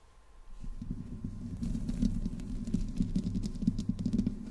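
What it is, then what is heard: Metal microphone grille being scratched. Long green-painted nails of both hands slowly scratch the hollow metal mesh grille of a large black desktop USB microphone in the Blue Yeti style, with no windscreen on it. A dense, low scratching rustle centered around 200 Hz builds from quiet to steady, topped with brighter crackling ticks as the nails drag across the mesh.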